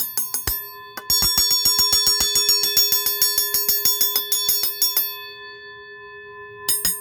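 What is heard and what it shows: A vintage Automatic Fire Cry home fire alarm bell made in Dayton, Ohio, is tapped with its winding tool in a quick, fairly steady series of metal strikes. Each tap gives a clear, high, bright gong-like ring that builds into a sustained shimmer and fades slowly in the pause before a final few taps. The bell rings clearly, though some spots on it ring less than others.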